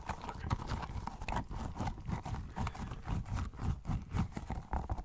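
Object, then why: Soft rubber squishy toy. A small pink squishy rubber pineapple toy with a blue top, held close to the mic, is tapped and pressed with fingertips. It makes a quick, uneven run of soft, sticky, dull taps that are heavy in the low end and die away almost instantly.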